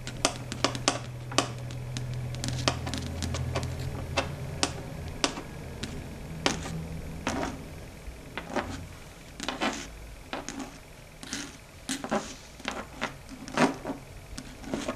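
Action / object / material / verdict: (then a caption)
tap / chalkboard surface / slate board / none. Long red stiletto nail tips tap across a large, flat, dark gray chalkboard, a solid flat board, producing a rapid, uneven run of short, bright clicks. Each tap dies away almost instantly. A low steady hum sits underneath through the first few seconds, and the taps later turn sparser and more spaced out.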